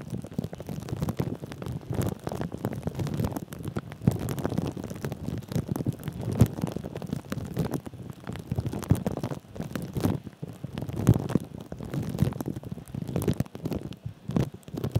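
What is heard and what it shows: Fingertips and short nails of both hands scratch and rub thin, clear plastic cling film wrapped tightly over a microphone's metal mesh head. The result is a continuous, dense stream of crinkling and scratching close to the mic, heavy in low, muffled rumble with quick crackly bursts throughout.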